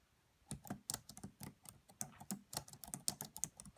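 Fingertips with long nails type on the black plastic keys of a red laptop, producing a quick, uneven run of light tapping clicks after a brief silence. Each tap is short and crisp, with a bright click over a soft low thud.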